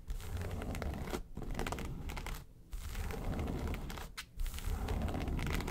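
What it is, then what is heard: Faux-leather makeup case being scratched. Long nails scratch across the lid and sides of a small, hollow, yellow textured faux-leather makeup suitcase. The result is dense, steady crinkly scratching, heavy in low rumble, broken by brief pauses near 1.2, 2.5 and 4.2 seconds.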